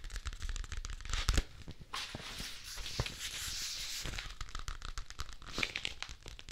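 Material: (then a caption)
Paper. A thin, flat, light-blue paper or card folder is held in both hands beside a mannequin-head microphone while fingertips crinkle and crumple it. Dense, bright crackling and tearing-like rustles run throughout, with a louder crunch near the start and a steadier hissing crinkle in the middle, each crackle stopping dry with no ring.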